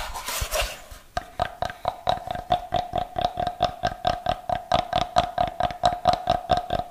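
A solid, brick-sized block of unfinished light wood, held in both hands, is scratched with fingernails for about a second, giving a dry, bright rasp. Fingers then tap it in a quick, fairly steady series of about 27 short, hollow knocks, each with a mid-pitched woody tone that dies away almost at once.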